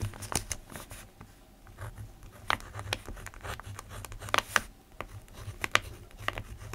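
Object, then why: Paper notebook sheet under a ballpoint pen. A black ballpoint pen writes on an open lined paper notebook resting on a desk. The pen tip scratches across the sheet in short, dry strokes and taps, with bright clicks standing out over a soft low hum. The strokes come in quick, irregular bursts.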